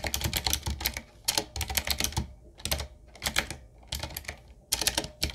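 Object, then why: Mechanical keyboard with round plastic keycaps. Fingertips of both hands type on a 7Keys retro mechanical keyboard, a full-size typewriter-style board with a solid body, round plastic keycaps on a dark metal plate and a wooden-looking frame. Quick bursts of bright, crisp clacks with a low thump beneath each press come in rapid runs separated by short pauses, and each keystroke dies away almost instantly.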